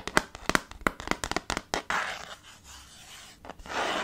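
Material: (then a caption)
Slate. A small dark chalkboard slate in a red wooden frame, resting on a table, is worked with knuckles and short-to-medium fingernails. About a dozen sharp, quick taps come first, followed by a steady, bright, hissy scratching and rubbing across the surface.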